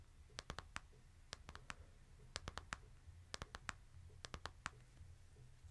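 A hand-held smartphone with a glass screen and a plastic case is tapped by fingertips on the screen and case. Five quick bursts of sharp, bright clicks with a steady mid-range ping ring out over a low, steady hum, each tap dying away almost instantly.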